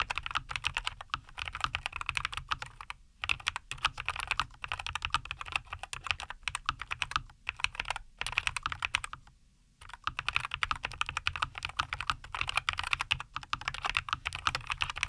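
Both hands type continuously with fingertips on a NuPhy Air75 V2, a compact 75% mechanical keyboard with a white case, green and white plastic keycaps and linear Cowberry switches, resting on a wooden desk. The result is a dense stream of short, crisp, bright clacks with very little low end. It breaks only for brief pauses and one longer lull around the middle.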